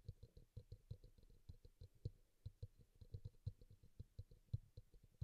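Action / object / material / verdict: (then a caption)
tap / small plastic bowl, upside down / plastic / none. A small, glossy teal bowl, likely plastic, sits hollow and upside down on a towel while one hand taps and scratches its side with fingertips and nails; a pink bowl beside it is left untouched. A quiet, rapid, uneven run of dull, low, hollow thumps with very short decay is heard, laced with faint high clicks from the nails.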